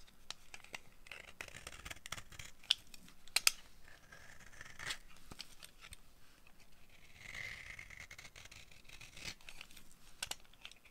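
A dry, solid orange bar of soap with embossed text, held in the palm, is scraped with a yellow-handled utility knife blade. Quiet, bright, crisp scraping and flaking comes in short, irregular strokes, with a few sharper ticks and a longer, steadier shave partway through.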